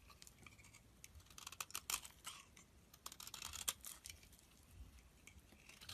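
A snap-off utility blade shaves curls off the edge of a solid pink soap bar held in the palm. The sound is a quiet, bright series of crisp scraping and slicing strokes, a few sharper than others, with almost no low end and no ring after each cut.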